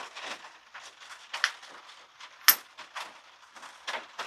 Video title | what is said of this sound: 2135 - Rock Challenge New Mexico Chert #flintknapping | that sounded like a hollow sound